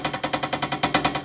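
A closed metal tree stand is shaken, and its loose parts rattle and knock together in a rapid series of about thirteen bright metallic clanks, even with the strap tightened. The stand's contact points and the bolt under the seat hit each other, making noise that carries when the stand is carried on the back into and out of the woods.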